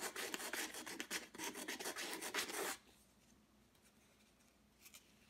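A folded piece of sandpaper held in the fingertips is rubbed quickly back and forth over a square stretched canvas board with a thick, rough, light-blue and white acrylic texture layer, lying flat on a dark table. A bright, gritty rasping rises and falls with each stroke for under three seconds, then stops, leaving near silence with one faint brush of sound just before the end.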